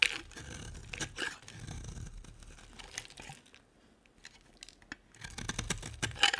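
A utility knife cuts and scrapes a solid, dry white oval bar of soap, making bright, crisp scraping and crunching sounds. The soap crumbles with a crackly, tearing texture. The sound grows quieter and sparser in the middle, then picks up again with louder scrapes at the end.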